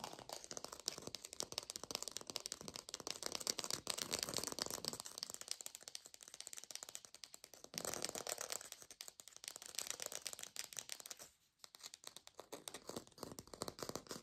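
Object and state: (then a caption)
Textured artificial orange. A textured artificial plastic orange is tapped rapidly with fingers in a lo-fi recording, producing a dense, dry, bright clicking rattle with almost no low end. The fast taps run continuously, pause briefly near the 11-second mark, then resume.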